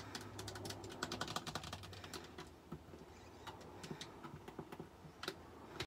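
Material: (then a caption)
Plastic. Long purple acrylic nails tap and click the buttons, thumbsticks and hollow plastic shell of a handheld white plastic Xbox-style game controller with rubber thumbsticks and colored face buttons, which lies on a grey hexagon-patterned mat. The result is a quick, irregular run of short, dry, bright clicks and taps that are dense at first and then more spaced out, with a faint low hum underneath.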